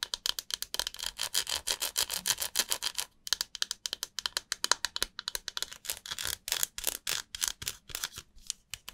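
Long nails and fingertips rub and scratch a dry, solid, hand-sized white rectangular bar of soap held over an empty glass bowl. The result is a fast run of crisp, bright scratching strokes with almost no low end, broken by a brief pause about a third of the way through before the scratching resumes.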